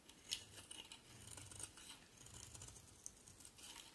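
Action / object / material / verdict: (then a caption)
scrape / bar of soap shaved with a blade / soap / none. A box cutter blade shaves a solid white oval bar of soap, and the curls pile up. Soft, bright scraping and crisp shaving strokes run throughout, with a few sharper ticks rising above the steady rasp.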